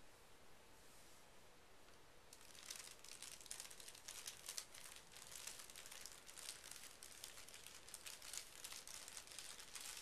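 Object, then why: Thin tissue paper sheet. A large, flat sheet of thin pink tissue paper lies on carpet and is smoothed and rubbed with fingertips and short painted nails. After a quiet start of about two seconds, soft, bright crinkling and rustling begins and continues through the rest of the clip. Small scratchy peaks rise through the texture as the fingers and nails move over the paper.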